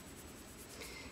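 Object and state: Nothing is struck.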